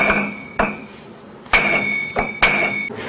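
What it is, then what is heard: Gold bullion bars ringing. One-kilogram gold bullion bars are knocked together in the Banque de France vault. Each strike gives a bright, metallic clink with a clear ring near 2.2 kHz that fades over about a third of a second. The strikes repeat at uneven intervals, and some overlap.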